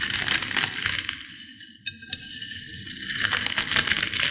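Small potato chip fragments in a white ceramic bowl are crushed between fingertips and long nails, giving dense, bright crackling and crunching. The crackle eases in the middle, where two sharp snaps stand out, then builds again to a busy crunch at the end.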